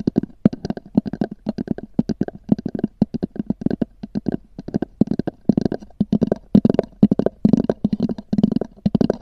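Long nails tap and scratch rapidly across the textured cover of a small black oval hard-shell EVA zip case, which is hollow. Quick, dry clicks and scrapes come in dense bursts over a hollow, low resonance around 200 Hz, with almost no ring after each hit.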